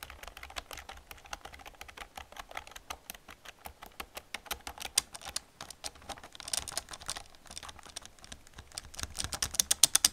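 Fingers type and fingernails tap on the keys of an old black plastic computer keyboard. The result is a steady stream of short, dry, bright plastic clicks with almost no low end, ending in a burst of sharper, louder clacks near the end.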